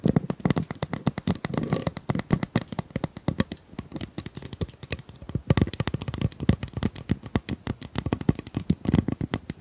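Long nails scratch and tap along the ribs of a hollow pink corrugated plastic pop tube, about 25 cm long, held in both hands. The result is a rapid, uneven stream of dry, clicky taps with a hollow low body and very short decay, punctuated by brief ratcheting scratches.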